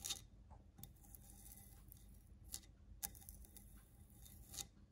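Long nails scratch and tap the side of a medium grey stone-look ceramic planter with a ribbed, rough glazed surface, hollow and holding a plant. A quiet, steady bright rasp of scratching runs throughout, broken by sharp, brief taps that ring out high and die away almost instantly.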